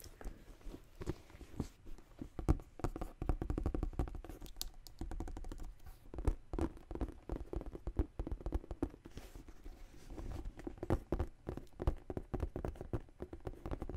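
Long green nails tap and scratch the smooth side of a large tan faux leather tote bag with metal rings. Rapid, dense soft taps mix with brief scratchy strokes, with a dull, low-heavy thud and quick-fading clicks throughout.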